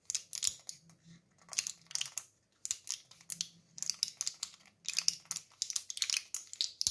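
Fingertips and thumbs press and rub the printed foil backing of a small flat Impulse mint blister pack, held in both hands, with a clear plastic blister filled with white candies, while its cardboard sleeve lies on the surface nearby. A rapid, uneven series of dry, bright crinkles and sharp little pops comes in short bursts with brief pauses. Each sound stops almost instantly, with no low-end body.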